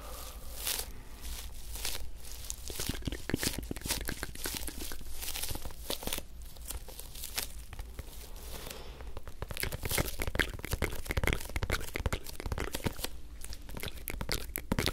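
Fingertips and nails tap and scratch the surface of a small, hollow, orange rubber toy football with stickers, held in both hands close to the microphones. Dense, rapid crackly taps and scrapes run throughout with a low hum underneath, growing busier in the second half.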